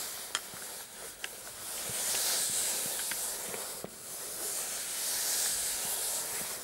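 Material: Fabric.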